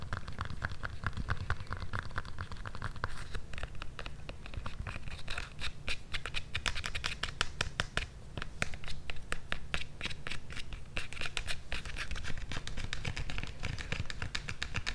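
An empty blue synthetic-leather strap sandal with a white rubber sole is scratched and tapped by long nails along its straps and sole edge. Dense, rapid scratching and clicking taps run throughout over a low rumble, growing busier in the second half.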